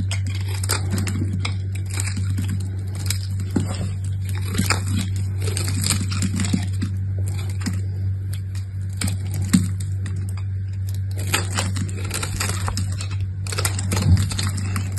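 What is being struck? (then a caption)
Bar of soap. A small solid purple soap bar with gold edges, held in the hand, is scraped and shaved with a utility knife. Dry, crackly scraping strokes come through in frequent short bursts over a steady low hum.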